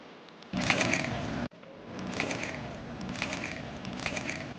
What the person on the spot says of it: Ini udah nggak sepanas tadi, tapi masih crunchy, Foodies.